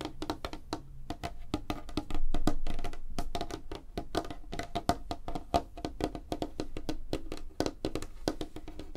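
Fingertips and nails of both hands tap rapidly on a flat, solid, light-colored wooden tabletop. The result is a fast, uneven stream of short, dry knocks with a low, woody thump and a clicky midrange, each dying away almost at once. A denser, louder burst comes just after two seconds.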